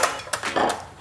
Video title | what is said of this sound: MASALA ROAST POTATOES - DISH OF THE WEEK | Can you hear how crispy it is?